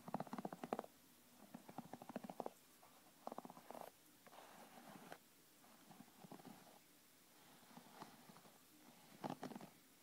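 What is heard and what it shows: A black plastic paddle hairbrush with dense pin bristles is held close while fingertips and long nails scratch and flick across the bristles. Quiet bursts of rapid, fluttering ticks come in clusters, with softer rustling scratches between them. The strums are mid-pitched and dry, and each one stops quickly.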